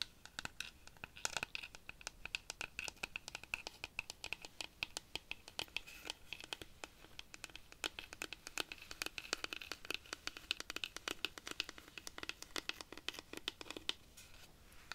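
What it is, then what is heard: Dried cactus rainstick. A large hollow dried-cactus wooden rainstick, held diagonally, is scratched and tapped with long nails on its porous wooden surface. The result is a quiet, dense run of short, bright clicks and scratches with almost no low end. A faint steady tone sits in the upper mids.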